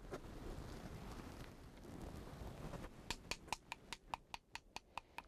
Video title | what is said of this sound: [한국사 탐(探)] - 선비들의 전통 필기구, 문방사우 / YTN DMB | 다 된 소리는 어떠냐 목탁 소리 같이 틀리죠